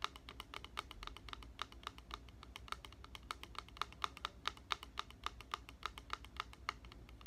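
A clear plastic spray bottle with a white trigger, partly filled with liquid and held upright, is tapped along its side with fingertips and nails. The taps are quick, light, clicky ticks in a steady rapid patter, each with a bright plastic tone around 1.2 kHz that dies away almost instantly. A faint low hum sits underneath.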